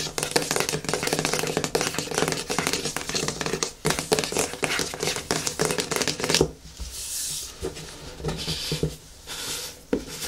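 Fingernails scratch and rub the lid and sides of a medium yellow plastic hair mask jar, making dense, crackly scratching for about six seconds. The sound then drops to a softer, breathy rubbing with a bright hiss until the end.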